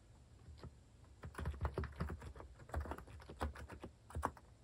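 A compact white plastic mechanical keyboard with cat keycaps is typed on quickly with fingertips. It produces a run of short, dry keystroke clicks with a deep thocky low end. The clicks come in bursts, after about a second of near-quiet at the start.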